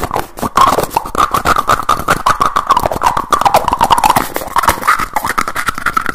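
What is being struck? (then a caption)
Plastic jar with screw lid. Fingertips rapidly work the teal screw lid of a small dark blue jar, likely plastic, opening, closing and tapping it. The result is a dense, continuous stream of quick clicks, taps and scraping twists, with a squeaky, rubbing tone near 1 kHz running throughout the clip.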